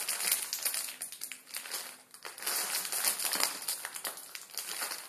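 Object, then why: Plastic film ramen noodle packet. A plastic film ramen noodle packet holding crushed noodles is crinkled and squeezed with the fingers. It makes a dense, bright crackling and crinkling with almost no low end, easing briefly around the two-second mark before picking up again.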